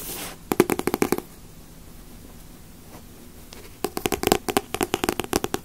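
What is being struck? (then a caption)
Thick paperback comic book with glossy paper cover. A thick Dragon Ball Z paperback comic, larger than the other volumes and solid with a glossy paper cover, is held in both hands and tapped and scratched on the cover with long nails. A brief scratchy hiss opens the clip, followed by a quick run of crisp, dry taps, then a quiet pause. A second, longer burst of taps follows, for 22 short, hollow clicks with almost no ring.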